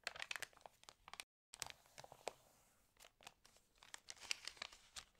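Fingertips rub and turn the stiff, wavy pages of an open, water-damaged glossy paper fashion magazine lying on a table. Quiet, bright crinkles and dry crackles come in quick bursts, with a brief silent gap early on. The rustling swells again toward the end as more pages are handled.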